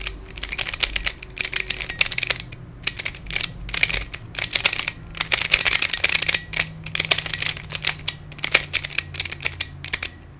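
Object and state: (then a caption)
Plastic Pyraminx puzzle. Fingertips twist the layers of a hand-sized black plastic Pyraminx, a pyramid twisty puzzle with coloured stickers and a hollow mechanism. Rapid, bright, dry plastic clicks come in uneven bursts with very short decay, over a faint low hum.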